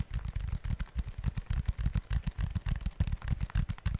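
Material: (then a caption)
Plastic. Fingertips tap and press the plastic calculator keys of a small, hollow, handheld black electronic organizer/planner with a notepad section in a faux-leather cover, held close to the mic. About 25 quick, dull, low thuds and clicks come in a fast, uneven rhythm, each dying almost instantly with no ring.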